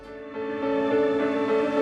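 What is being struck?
Nothing is struck.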